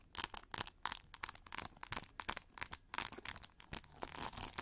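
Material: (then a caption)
Plastic. Long nails scratch and tap the textured back of an oval, hollow pink plastic hair brush. The result is a quick run of dry, bright, scratchy bursts with almost no low end and no ring after each stroke.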